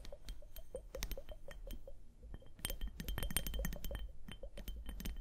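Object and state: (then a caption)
Plastic liquid hourglass. A small clear plastic liquid hourglass filled with liquid and beads, held on fur, is tapped and scratched with long nails. Rapid, irregular bright clicks and clinks ring briefly over a steady low rumble, with faint scratchy texture between the taps.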